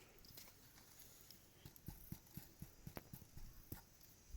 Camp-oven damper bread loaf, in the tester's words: When you tap a damper, that's how you tell it's ready if it sounds hollow